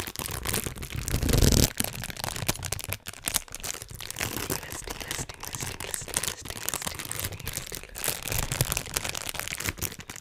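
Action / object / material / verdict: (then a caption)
scrape / thin plastic bag / plastic / none. A small, thin, empty transparent plastic bag is pinched and crinkled between the fingertips of both hands close to a microphone. A dense stream of fast crackling and crinkling runs for about ten seconds, bright and rustly, with a low thump underneath. It swells into a louder, fuller burst around one and a half seconds before settling back to steady crinkling.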